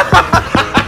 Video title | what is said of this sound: BAKIT PANG F**K BOY ANG HONDA CIVIC VTEC 90'S | masilyado, bubong. Tunog pa lang, sakit sa kamay, katukin.